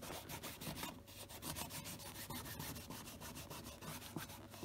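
Fingertips wrapped in a cloth rub cleaner over the toe cap of a hollow tan leather Tricker's brogue country boot during care before long-term storage. Quick, repeated strokes produce a steady, bright, scratchy rubbing texture with a soft low body, each stroke fading almost at once.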